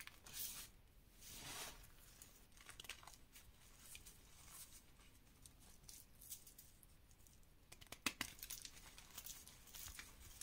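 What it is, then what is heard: Crumbling gym chalk powder. A heap of dry, dyed green and pink reformed gym chalk powder with small chunks is crushed and rubbed between bare fingers and fingertips. The sound is quiet, bright, crunchy crumbling and gritty scratching, with short bursts of louder crushing throughout and the sharpest crunch near the end.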